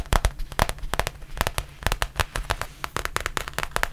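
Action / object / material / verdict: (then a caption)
tap / faux leather zip pouch tapped with fingernails / faux leather / none. Long painted nails tap and scratch the surface of a black textured faux leather zippered pouch, about tablet-sized, held in hand. A rapid, uneven series of sharp, dry clicks with a dull low thump underneath and bright crackle on top dies away almost instantly. Softer rustling scratches fill the gaps between taps.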